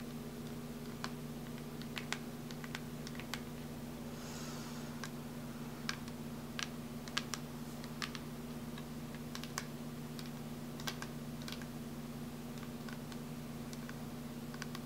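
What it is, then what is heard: Hollow plastic syringe prop tapped with fingernails. Fingernails tap rapidly on a hand-sized, hollow, clear plastic light-up EVE hypo syringe prop, lit blue from inside with metal-look fittings, held in both hands. The result is dense, quiet, sharp clicky taps that die away almost instantly, over a steady low hum.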